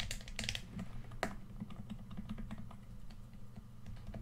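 Fingertips of one hand tap on the touchpad and body of a red, hand-sized, hollow plastic PS4 controller. Quick, light tapping clicks come in a steady patter over a low, dense rumble, with one sharper, brighter tap standing out early on.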